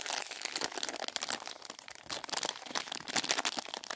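Fingertips with painted nails rub, press and crinkle the wrapper of a filled Double Dip plastic film candy packet. The result is a continuous run of dense, bright crinkles and crackles with almost no low end and short, dry bursts that rise and fall throughout.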